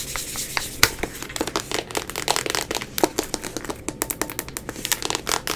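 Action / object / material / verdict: tap / vinyl toy figure / vinyl / none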